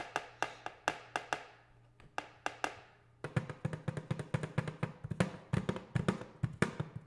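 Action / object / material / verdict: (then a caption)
tap / metal paint cans / metal / none. Metal paint cans are tapped, giving short, dull, hollow taps with a low body and almost no ring. A slow, evenly spaced run of taps is followed by a brief pause, then a faster, denser flurry that continues to the end.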